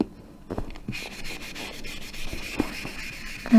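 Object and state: Wooden-framed chalkboard being erased.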